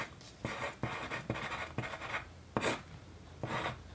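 A sharpened yellow wooden pencil, held in the fingers, writes on a single sheet of white paper resting on a wooden desk. Its graphite scratches across the paper in continuous, dry, bright strokes. The strokes come in repeated bursts separated by brief, quieter pauses.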